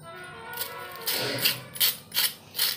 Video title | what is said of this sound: medu vada recipe - वरुन कुरकुरीत आणि आतून मऊ बटाट्याचे कुरकुरीत मेदूवडे - meduvada recipe in Marathi | मेंदूवडे वरून किती क्रिस्पी झालेले आहेत त्याचा आवाज ही तुम्हाला दाखवते. बघू शकता. एकदम कुरकुरीत आवाज येतोय